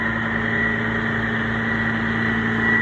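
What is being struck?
Nothing is struck.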